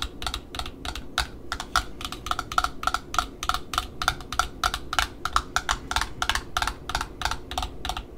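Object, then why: Cardboard ribbon spool end disc. Long nails tap and scratch the cardboard end disc and its rim on a black Offray ribbon spool. A fast, uneven run of short, dry clicks rings bright and crisp, with almost no ring after each tap and a soft scratchy hiss underneath.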